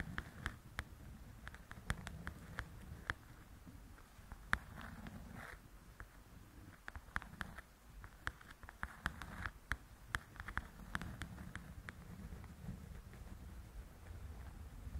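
Long nails tap and scratch the glossy cover of a large, flat paperback coloring book. Many short, dry clicks around 1.7 kHz stand out over a soft, steady scratching hiss and a low rumble. The taps die away almost instantly.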